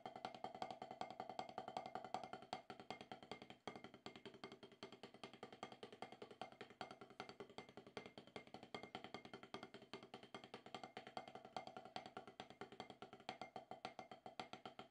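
Wooden drumsticks play fast rolls on a solid, octagonal HQ rubber-top practice pad resting on cloth. The result is a dense, steady stream of short, dry taps with a woody knock centered around 750 Hz. Each tap dies away almost instantly, with a brief dip in the flow a few seconds in.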